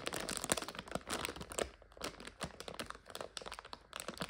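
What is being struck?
Plastic bag of dried egg noodles.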